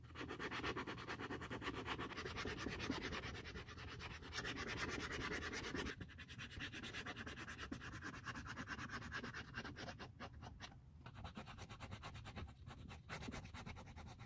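Gloved fingers rub a small red abrasive sanding pad along the edge of a small black textured leather Burberry bifold wallet during restoration. A steady, rapid, scratchy sanding rasp with a bright hiss repeats in quick strokes, turning slightly softer and thinner after about six seconds.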